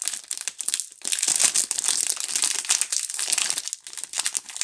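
A Duru multipack of several solid soap bars in a clear plastic film wrapper is held in both hands and squeezed and rubbed with fingertips and long nails. This gives a dense, bright crinkling of the film with almost no low end. The crinkling is softer in the first second, then louder and continuous with fluctuating bursts.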